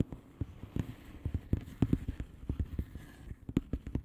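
Long painted nails of both hands tap and scratch the bubbles of a blue plastic bubble wrap mailer lying flat. About nineteen short, dull, low-pitched taps come in an uneven quick rhythm, with faint scratching between them and no ring after each hit.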